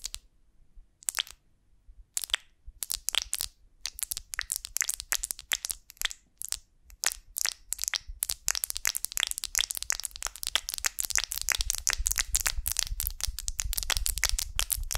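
Long nails scratch and tap the wax cells of a large golden beeswax honeycomb on a twig, held in both hands. Sparse, bright, dry crackles and clicks come first, then build into a dense, rapid crunching crackle. Each sound stops almost instantly, with no ring.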